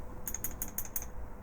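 A steel expander mandrel sits inside a window-cut expander die body with the top screwed fully down, and the die is shaken. Five quick, bright metallic rattles are heard, followed by a short ringing click, as the mandrel knocks slightly loose inside. This is normal: a relief cut lets the mandrel free float for more consistent alignment with the case neck, a deliberate design feature.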